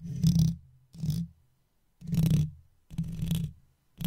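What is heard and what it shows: A wooden toothpick held in the fingers taps and scrapes the hollow metal mesh grille of an uncovered microphone. Five separated scratchy bursts are heard, the last cut off at the end, each a dense, low rumble around 170 Hz with a faint bright scraping edge. Brief silent gaps fall between them.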